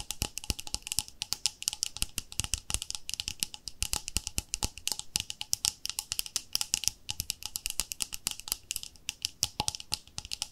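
Long nails tap quickly on the lid and side wall of a round, palm-sized white plastic cream jar with a pink label. The result is a rapid, uneven stream of sharp, dry clicks that stop almost instantly, with a bright, high tone and little low end.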